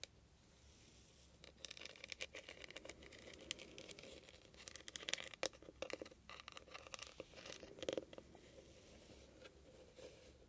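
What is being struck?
Small metal trinket box with beaded lid.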